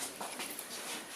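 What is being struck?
Nothing is struck.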